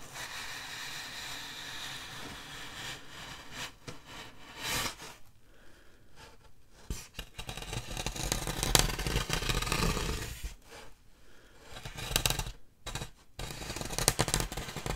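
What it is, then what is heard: Styrofoam slab scratched. Long dark nails scratch and rub across the surface of a large solid styrofoam packing slab held diagonally. The result is a rough, squeaky, broadband scraping that runs steadily at first, drops into brief quiet gaps, then returns in louder, brighter bursts of scratching.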